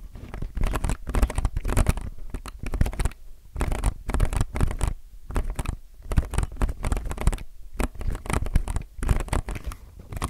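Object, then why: Plastic mechanical keyboard keycaps and case. Fingertips press and scratch the outer plastic keycaps and case of a low-profile mechanical keyboard. Bursts of dense, rapid scratching and tapping come in clusters separated by brief pauses, with a dull, low-heavy body and short, dry clicks.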